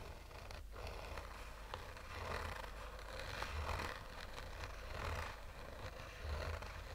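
Fingernails slowly scratch the textured fabric surface of a black oval sunglasses case with a hollow, rigid hard shell. The result is soft, raspy scraping in gentle, uneven swells, with a dull low hum underneath and faint bright hiss.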